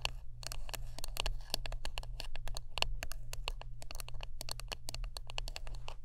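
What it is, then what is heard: Wooden brush. Close-up tapping and scratching on a wooden brush: a rapid, uneven run of short, dry clicks with bright, crisp attacks that die away almost instantly. A steady low hum sits underneath the whole time.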